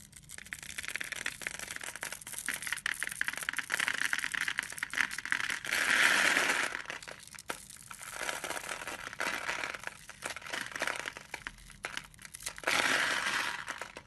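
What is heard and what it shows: A blade scores a solid, hand-sized bar of black and white striped soap and cuts small cubes from it. The result is a steady run of dry, crisp scratching and crumbly crunching with a bright, hissy edge. Louder swells of sustained scraping come around the middle and near the end.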